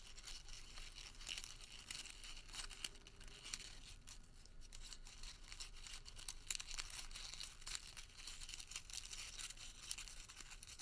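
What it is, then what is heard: Paper receipt. A crumpled, printed thermal paper receipt is pulled and twisted between fingers. It gives off a continuous, quiet, bright crinkling with dense crackles and occasional sharper snaps.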